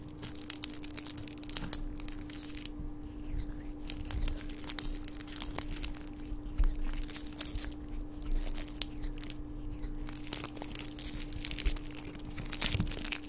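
A small gold metallic foil wrapper is crumpled and crinkled between the fingers, giving dense, bright crackling and rustling with quick crisp snaps. A steady low hum runs underneath throughout.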